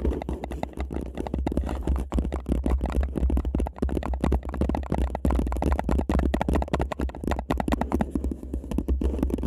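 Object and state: Paper cup.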